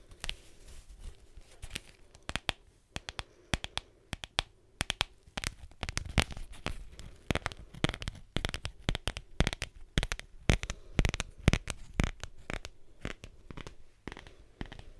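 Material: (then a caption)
Leather. Fingernails scratch and tap a folded black leather belt held in the hands, with a round studded metal buckle. Irregular, rapid, dry taps with a low thump and a crisp bright edge cut through a soft, crackly scratching texture. Each tap dies away almost instantly.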